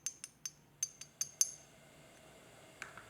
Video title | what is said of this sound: How to Carve Porcelain Maker's Marks — From Start to Finish | you can hear the difference in the material when I tap them together as the clay has now partly vitrified